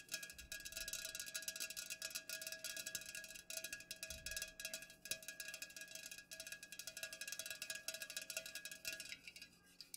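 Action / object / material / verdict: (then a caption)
tap / aluminum drink can / aluminum / none. Long nails rapidly tap the sides and top of an unopened, full Pepsi aluminum can standing upright. The result is a dense, continuous stream of quick, bright metallic ticks, each dying out almost at once, with a faint ringing tone near 2.5 kHz and almost no low end.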